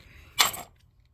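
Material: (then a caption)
Metal. A damaged aluminum third member (differential) from an MGB is shaken, giving one short, bright burst of jangling, coin-like metallic rattle from loose debris inside. The rattle quickly dies away into near silence, a gritty, abnormal sound that marks the unit as damaged.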